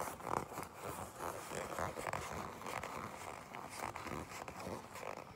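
Long pink nails tap and scratch a black leather jacket, then grip it. The result is a soft, dry run of scratchy rustles and light taps. Quick creak-like bursts give a muted, mid-toned texture.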